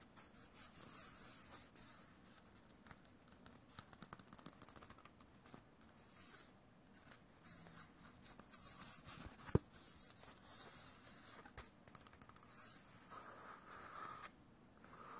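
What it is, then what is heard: Paper-covered cardboard tube. A hollow cardboard tube wrapped in white paper with a drawn face is held in both hands and tapped and scratched with the fingertips and nails. Soft, dry tapping and bright scratching rustles continue quietly throughout, with one sharp click standing out near the middle.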